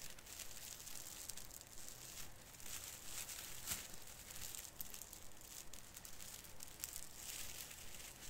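Fingertips pinch and rub the lower branches of a small artificial fir Christmas tree with plastic needles, crinkling them. A quiet, steady stream of dense crackling and rustling is heard, bright and hissy, with occasional slightly sharper snaps standing out from the texture.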